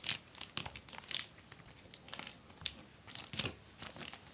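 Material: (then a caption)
Plastic film. A long, flat, folded sheet of clear acetate book-cover film with a white paper backing lies on a wooden desk while both hands, with long painted nails, press, rub and tap along the fold, creasing the plastic. Bright, crisp crinkles and sharp crackles come in quick bursts, with brief quiet pauses between them. Little low end sits under the bright crackles.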